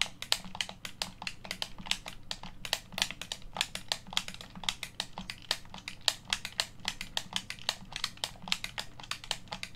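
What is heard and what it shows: Fingertips press, rub and click the buttons of a hollow black plastic Xbox One controller held on a table. A rapid, steady run of short, sharp, bright plastic clicks and taps cuts off almost instantly, over a faint low background hum.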